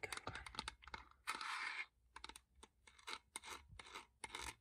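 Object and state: Plastic cassette adapter.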